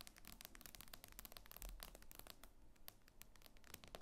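Fingernails tap and scratch quickly across the glass screen of an iPad lying flat and solid. The result is a dense run of sharp, bright clicks mixed with light scratching, with no ring after each tap.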